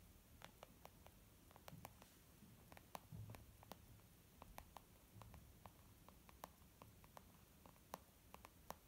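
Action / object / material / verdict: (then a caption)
tap / small leather zip makeup bag / leather / none. Long nails tap quickly and unevenly across a small white textured leather zip makeup bag lying flat, one hand near its bottom edge, the bag soft and hollow. Each tap is a short, dry click, with a bright tick over a hollow knock near 945 Hz that dies away almost at once. A faint low rustle of handling runs quietly underneath.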